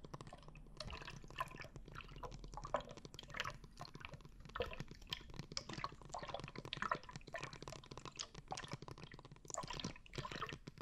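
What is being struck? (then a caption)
Plastic bottle filled with liquid and glitter. A plastic glitter water bottle filled with liquid and glitter is held horizontally in both hands, tilted and shaken. The liquid sloshes and drips in a steady stream of soft, wet splashes and gurgles. The clip is quiet throughout, with a low rumble underneath.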